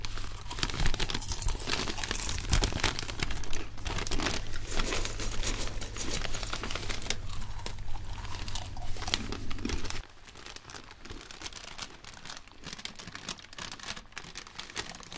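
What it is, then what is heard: Paper bag being crinkled. An empty, flat, red-and-white striped paper popcorn bag is unfolded and opened by white cotton-gloved hands, producing dense, continuous crinkling and crackling paper sounds. A steady low hum runs beneath the crinkling for the first ten seconds, then cuts out, leaving quieter, sparser rustles to the end.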